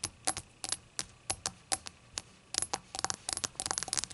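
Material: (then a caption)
Glazed glass. A small hollow shot glass with a glossy, opaque rainbow glaze, made of glass or ceramic, lies on its side on a white towel and is tapped with the tips of long green acrylic nails. The result is a string of about 17 short, bright, high clicks that die away almost instantly. The taps start spaced out and quicken into denser clusters toward the end.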